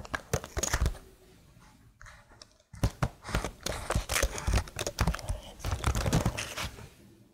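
Long blue nails tap and scratch the keycaps of a plastic laptop keyboard held upright beside the mic. Quick, dry clicks and scratchy scrapes come in dense bursts, with soft low thuds beneath them. A brief quiet lull falls early on before the tapping picks back up and fades out at the end.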